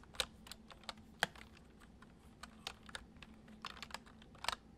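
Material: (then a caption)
Plastic. Fingertips tap the keys of a white plastic computer keyboard in a gentle, irregular rhythm. Each keystroke is a short, bright plastic click that stops almost instantly, with a few louder taps among softer ones. A faint steady low hum sits underneath.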